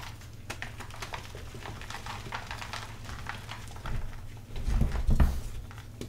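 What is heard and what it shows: Bare hands with chalk-coated fingertips squeeze, crush and crumble soft chunks of dyed purple gym chalk (magnesium carbonate powder and chunks), then press and rub the loose powdery pile heaped in a white plastic bin. Dry, soft crunching and powdery rubbing crackle over a low, muffled rumble, with the crushing growing louder and fuller toward the end.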